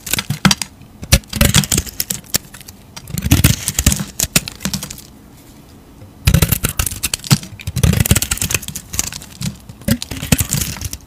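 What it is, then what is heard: Bar of soap being carved. A utility knife blade scrapes the surface off a solid square Dalan Defne laurel soap bar, which has a blue painted coating and a yellow-green core and is held in a hand. Many quick, dry scraping strokes and clicks come in bursts, separated by a quiet pause in the middle.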